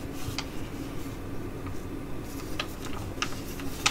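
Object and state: Foil sheet mask pouch crinkled and tapped.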